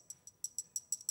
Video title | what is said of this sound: JewelleryMaker LIVE 24/09/2022 | real jade because of its density when that they tingle together can you hear that it sounds like metal it sounds like you're wearing two metals